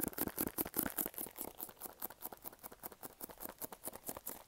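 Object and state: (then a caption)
Cardboard box. Fingernails scratch and fingertips tap on a small, hollow, pink printed cardboard product box. The result is a quiet, fast, uneven patter of soft, hollow taps mixed with bright, scratchy rasps, each dying away quickly and dryly.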